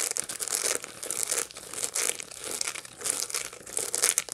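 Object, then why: Dried sunflower head with seeds. A dried sunflower head with its seeds still attached is held in both hands and scratched with long light-blue nails. This produces dry, bright, crackling scratches in irregular bursts, with rustling, crinkly texture and no lingering ring.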